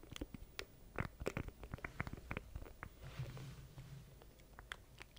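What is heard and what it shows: A small black plastic stream deck controller with a grid of button keys is held in both hands close to the mic while fingertips tap and press its keys. The result is a quick, irregular run of short, dry plastic clicks and taps, each dying away almost instantly, over a soft low rumble.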